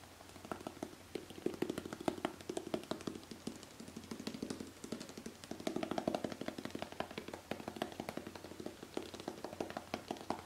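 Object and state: Metal aerosol can tapped with fingernails.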